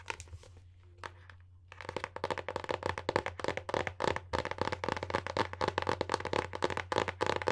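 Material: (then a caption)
Paper board. Long painted nails tap and scratch the printed paper-covered board front cover of a solid, medium-size hardcover book, "Contos Peculiares," held up in the air. A few soft scratches and taps over a low steady hum give way after about two seconds to a quick, continuous run of dozens of short, dry, crisp clicks.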